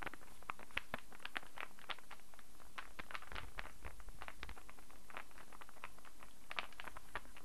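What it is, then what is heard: Wooden star puzzle, solid pieces. A small hand-held interlocking star puzzle of light, unfinished solid wood is held in both hands and tapped and scratched with long fingernails. The result is a steady, quiet patter of many short, dry clicks and scrapes, bright and crisp, with a faint low hum underneath.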